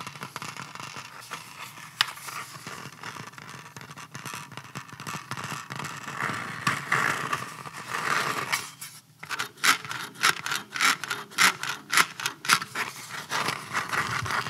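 A hollow black polymer rifle magazine, held up close in both hands, is rubbed and scratched by fingertips and nails along its textured, ribbed body. A steady, dry scraping rasp with little low end gives way in the second half to quicker, louder strokes of bright, crisp scratching that repeat in an uneven rhythm.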